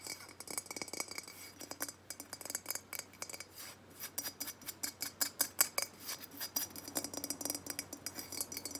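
A hollow unglazed terracotta jug is held up in the hands while long nails scratch and tap its matte clay body. The result is a rapid, uneven series of sharp, bright clicks and ticks with almost no ring, over a soft, steady scratching hiss.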